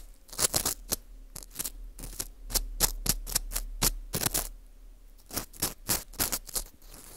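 An orange plastic earpick scrapes inside the hole of a porous dried wheat gluten ring (fu) held in gloved hands. Short, bright, crackly scraping strokes come in quick, irregular bursts with brief pauses, over a faint low steady hum.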